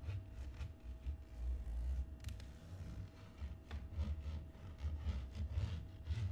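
Fingernails and fingertips scratch and rub the textured plastic lid of a closed teal HP laptop lying flat on a wooden table. The result is quiet, continuous low, dull rubbing with soft, brushy scratch strokes swelling and fading throughout, over a faint steady tone.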